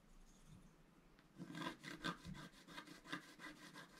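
A wooden stylus scratches the black coating of a flat scratch art card lying on a table, working first at the bottom edge and then in the wing area. After a quiet first second, a series of dry, rasping scratch strokes follows, each one short and bright with a gritty texture.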